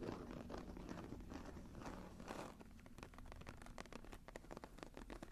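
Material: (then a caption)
Leather. Long nails scratch across the textured cover of a closed brown embossed leather journal lying flat. The sound is a soft, continuous scratchy rustle with a low hum underneath, breaking into quick, crackly strokes in the second half.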